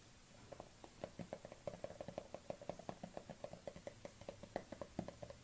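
Long nails tap and scratch the black lid of a small plastic collagen cosmetic jar held in the hands. About 19 quick, dry taps ring with a hollow plastic tone near 560 Hz, with faint scratching between them.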